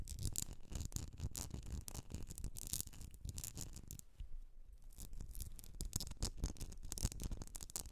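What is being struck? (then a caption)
Wax-filled glass candle jar. Long nails scratch and tap the sides of a medium etched glass candle jar filled with solid wax, resting on a fur rug. The result is a dense, continuous run of bright, dry scratching with rapid soft ticks and low, muffled thuds. The activity eases briefly around the middle before picking up again.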